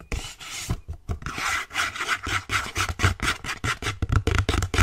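An empty white cardboard sleeve with a window cutout is rubbed and scratched with fingers and nails. The result is a rapid series of dry, raspy scraping strokes with soft low thumps beneath and a bright papery hiss on top.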